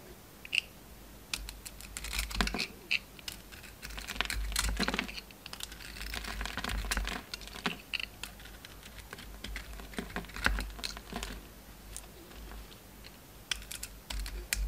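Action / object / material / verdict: scrape / soap bar cut with a metal blade / soap / none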